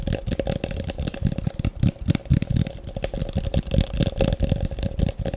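A medium, translucent frosted plastic tub, hollow and empty, is held with its open side toward the camera and tapped fast with fingertips and nails. The result is a dense, rapid run of short, hollow low thuds mixed with bright clicky nail ticks, over a faint steady tone near 550 Hz.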